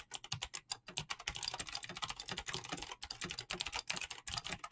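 Fingertips rapidly tap the keys of a full-size mechanical keyboard with clicky green switches and PBT plastic keycaps during fast typing. A dense stream of sharp, bright clicks with very short ring overlap, each paired with a soft low thud, in an uneven, continuous rhythm.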